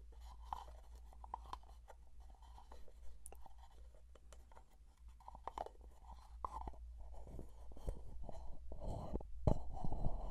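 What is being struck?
Closed plastic jar.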